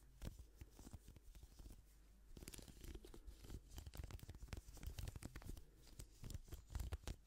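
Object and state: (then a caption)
Plastic hairbrush. Gloved fingers scratch and strum the bristles of a pink plastic hairbrush held close to the microphone. The result is a dense run of quick, dry crackling ticks and scratchy strums over a soft, low rumble, growing slightly louder toward the end.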